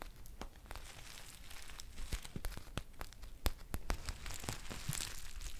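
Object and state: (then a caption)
Foil tea pouch. Long painted nails scratch and crinkle a green foil tea pouch with a paper label. The result is a quiet run of irregular crinkling and crackling, broken by sharp, bright ticks and taps over a low, dull rumble.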